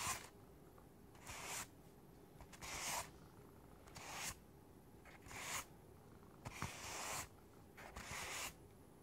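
Fingertips and nails tap and scratch the top of a closed, hollow white styrofoam packing box with a lid. Short bursts of dry, hissy scratching, strongest in the high frequencies, repeat about every one to one and a half seconds against a quiet background.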